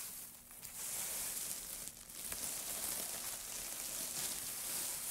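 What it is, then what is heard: Pile of wood shavings. Gloved hands scoop up and crumple a heap of thin wood shavings, then let them drop back onto the pile. The result is a steady, dense, bright crackling rustle with brief dips in loudness near the half-second and two-second marks.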